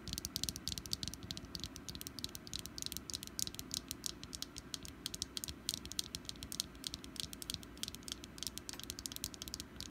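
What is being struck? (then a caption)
Small wax pumpkin candle. Long nails tap rapidly on a small, solid orange wax pumpkin candle, near its stem and along its sides. The taps are quiet, dry, bright clicks in a steady, unbroken stream over a soft, constant low background rumble. Each tap dies away almost instantly.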